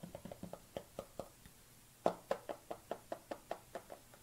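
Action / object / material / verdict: tap / hard plastic tub / plastic / none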